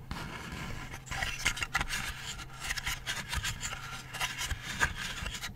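Fingernails scratch the recycled-wood body of a decorative Hi Park craft light panel, producing a dry, bright rasping with a series of sharper scratches over a low background hum.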